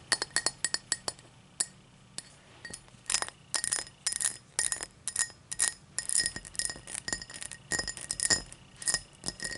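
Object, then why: Tall drinking glass. A tall drinking glass is tapped in quick, uneven bursts, each tap giving a short, bright clink with a faint ring near 1.9 kHz that dies away almost at once. Sparse single taps at the start give way to denser clusters of clinking, all at a quiet level.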